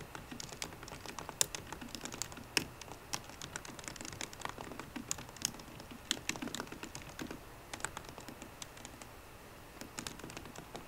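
Fingertips with short green-painted nails type in steady taps on the low-profile plastic keys of a 13-inch aluminum MacBook Pro with a hollow, thin body. Dozens of quick, dry, bright clicks land close together with almost no ring over a faint background hiss.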